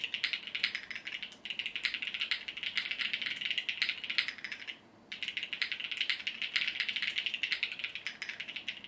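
A compact mechanical keyboard with multicolored plastic keycaps, resting on a desk mat, is typed on continuously with the fingertips of both hands. It makes a dense stream of short, bright plastic clacks that die away almost at once. There is a brief pause just before the midpoint before the typing resumes.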